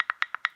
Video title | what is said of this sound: Canning 101 - What every new Canner needs to know - How to Home Can Gardening & Canning in the City | that means the jar is not sealed if you hear that ping